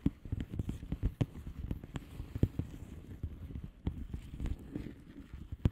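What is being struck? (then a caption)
Plastic bubble wrap mailer envelope. Long manicured nails of both hands tap and scratch a flat blue plastic bubble wrap mailer envelope with air-filled bubbles. A quick, irregular run of soft, dull taps lands over a low rustling scratch, each tap short and thumpy with almost no ring. The sound stays muffled and bass-heavy, with little brightness.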